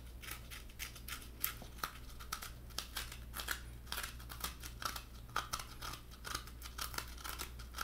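Fingertips and nails tap and scratch the white flesh of a halved coconut, a hollow shell lined with white meat. A quiet, rapid series of short, crisp scratches and taps with a bright, papery edge rises over a steady low hum.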